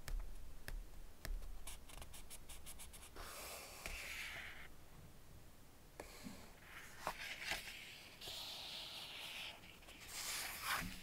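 An open Ladybird hardback paper picture book, held on one spread, as fingertips rub and slide across its pages. Soft, dry scratching and swishing rises and falls with the strokes, broken by a few sharp taps and light thumps.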